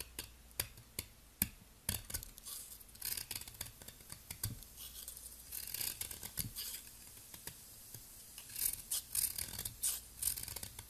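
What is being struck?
Soap ball.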